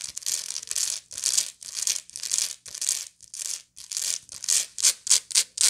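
Long nails scratch the textured weave around the central spiral of a round, hollow woven straw or raffia bag held in both hands. A series of bright, dry, rasping strokes rises and fades with brief silent gaps between them, and the strokes grow shorter and quicker toward the end.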